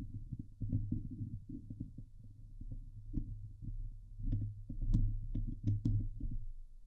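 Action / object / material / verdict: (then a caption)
scrape / steel mesh microphone grille / steel mesh / none. Long nails scratch the sides of a Blue Yeti microphone's hollow steel mesh dome grille. The result is a dense, irregular run of low, boomy rubbing and thumping strokes, with only occasional brief, brighter scrape ticks above the deep rumble.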